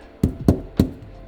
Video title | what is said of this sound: Is Sound Deadening WORTH It? REAL Results From My Jeep Install! | sounds good nice solid sound